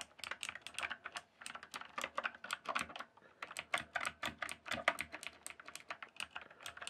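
Fingertips type quickly on a rainbow-backlit mechanical keyboard with plastic keycaps. The result is a steady, uneven run of sharp, bright, clacky keystrokes that each stop almost at once, with almost no low thud.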